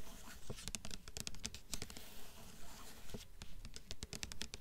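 Long fingernails tap quickly on the glossy front cover of a blue hardcover book with a paper dust jacket. The result is a rapid, somewhat uneven run of crisp, bright clicks, each with a soft low thump beneath it.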